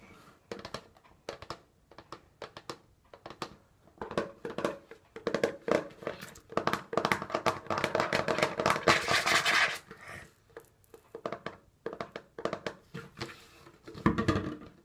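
Fingernails tap on the side and the plastic lid of a partly full orange plastic disinfecting wipes canister. Quick, crisp, hollow plastic clicks come in uneven bursts. They build to a dense, brighter rattling flurry in the middle before thinning back out to scattered taps.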